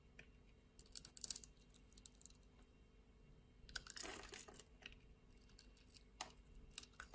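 A metal utility-knife blade scrapes across a solid translucent red glycerin soap bar, deeply grid-scored and held in the hand, breaking off crunchy chips of small cubes. Bright, crisp crackling comes in short bursts, the strongest near the start and the middle, over a faint low hum. The crunches are dry and stop instantly, with no ring.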